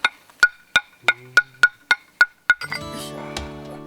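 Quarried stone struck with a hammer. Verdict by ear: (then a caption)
Sound. A hammer taps a quarried stone being tested for inkstone nine times in a steady rhythm, each strike a short, clear ring pitched near 1.5 kHz with bright overtones. The clear tone marks the stone as good inkstone material. After the last tap, a sustained layered tonal sound, like music, takes over.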